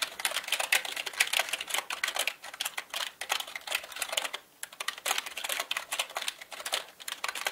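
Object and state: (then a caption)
Plastic mechanical keyboard. Fast typing with the fingertips of both hands on a full-size black plastic mechanical gaming keyboard, with plastic keycaps on a plastic and metal body. It produces a rapid, dense stream of sharp, bright clicks with almost no low end and a brief pause around the middle.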